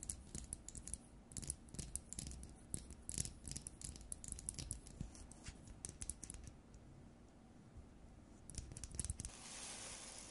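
Long nails tap and scratch the frosted plastic dome of an LED light bulb, making quick, dry clicks and scrapes with bright edges over a low, steady hum. The tapping thins to a quieter stretch in the middle, returns in a brief burst, then gives way to a soft, even hiss at the end.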